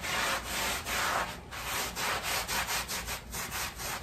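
A long-handled black bristle push brush scrubs the front of a wet, patterned woven pile area rug covered in foam and resting on a plastic sheet. Repeated back-and-forth strokes make a bright, hissing, wet rasp with short dips between pushes.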